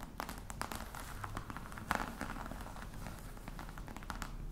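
Long nails tap quickly on the lid of a hollow croc-embossed faux leather box. The result is a dense run of soft, dry clicks with very short decay over a low, steady rumble.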